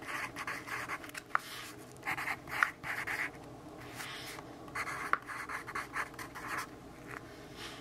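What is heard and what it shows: A yellow pencil writes words on a lined paper notebook page while fingertips steady the page. Continuous bright, papery scratching comes in short bursts with brief pauses between strokes, with a few sharp ticks where the pencil taps or catches the paper.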